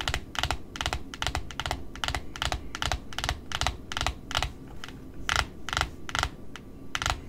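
Long pointed nails tap and scratch the flat, solid cardboard face of a large white cardboard spool wound with pink satin ribbon. A quick, uneven run of crisp, dry taps gives short bright bursts with almost no ring, over a steady low rumble.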